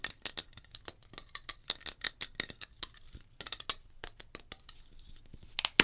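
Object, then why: Metal aerosol can. Long nails tap quickly on a metal hairspray can, giving about 25 sharp, bright clicks in an irregular rhythm. Each tap is crisp and dies away almost at once, with very little low end and a few louder taps near the end.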